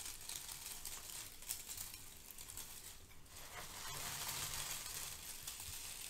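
Hands with long nails rub and squeeze a pile of brown crinkle-cut kraft paper shred, making a soft, steady rustle full of bright, crisp crackles. The rustling continues without pause and grows slightly fuller and louder in the second half.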